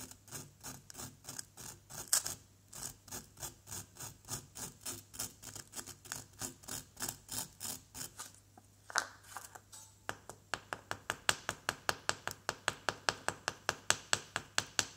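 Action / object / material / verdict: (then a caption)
scrape / plaster block scraped with a wooden pick / plaster / none. A small, solid yellow plaster dig-kit block resting on cardboard is scratched with a pointed wooden chisel in steady, rhythmic, bright rasping strokes over a faint low hum. Near the end, a small wooden mallet is brought in, and the sound turns into quicker, sharper, short taps.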